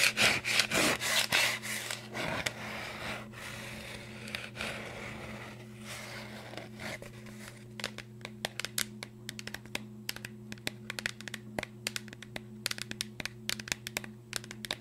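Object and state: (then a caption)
Cardboard chip canister. A green Pringles tube, a hollow cardboard cylinder with a plastic lid, is held in the hands and rapidly scratched and rubbed on its label with long nails. The first half is a dense, bright, rasping scrape that swells and fades in strokes. The second half breaks into many quick, sharp scratches and taps over a steady low hum.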